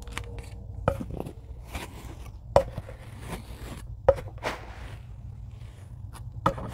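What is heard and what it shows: A rocker blade chops repeatedly into a tray of packed kinetic sand. Four sharp, crisp chops stand out, with softer crunching and scraping strokes between them over a low, steady background rumble.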